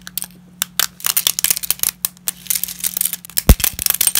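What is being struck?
Lasagna pasta pieces.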